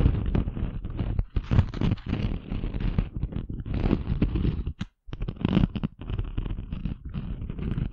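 A flat, thin, rectangular glitter craft sheet with a chunky rose-gold glitter surface, held upright, is scratched and rubbed with long manicured fingernails. The result is a steady, rough, gritty scraping with a heavy low rumble, broken by short gaps, including a brief full silence just before the five-second mark.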